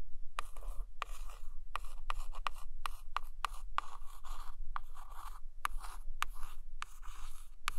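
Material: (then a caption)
Laminated cardboard. A single long acrylic nail traces and scratches along the glossy laminated photo cover of a large hardcover book lying flat. Soft, dry scratchy rasping comes in short strokes, punctuated by sharp little ticks as the nail catches the surface, over a steady low hum.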